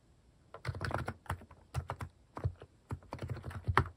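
A compact mechanical keyboard fitted with cat-shaped plastic keycaps is typed on with fingertips. After a near-silent first half second, it gives a run of short, deep, clacky keystrokes in uneven bursts with brief pauses between them. Each stroke dies away almost at once.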